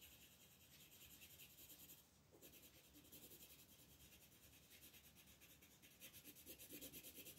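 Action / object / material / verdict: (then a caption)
scrape / wooden colored pencil on thin paper / paper / none. A green wooden colored pencil is rubbed back and forth across a thin paper coloring book page lying flat on a table to shade a leaf, while the fingertips of the other hand hold the page. Quiet, bright, raspy scratching repeats in quick strokes, with a brief pause near the two-second mark before it resumes and grows slightly louder.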